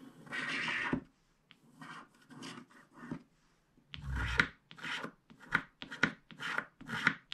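A wooden stylus scrapes a vertical stripe across a flat, black-coated paper scratch card pressed down by one hand, revealing teal underneath. A series of short, dry, raspy scraping strokes follows, each a brief gritty burst with some bright edge and little low end.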